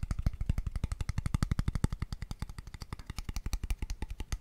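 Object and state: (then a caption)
Empty wooden tube box, hollow. A small, empty, light wooden square tube box, open-ended and hollow, is tapped rapidly and aggressively with fingertips and nails. About 48 quick, dry, hollow knocks come in an uneven stream, each with a low thump and a faint bright click and almost no ring.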